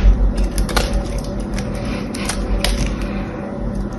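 A small knife scrapes and cuts a solid blue bar of soap with a silver painted coating, held in the hand, and blue chips fall off. Light, crisp scraping clicks come at an irregular pace over a steady low hum.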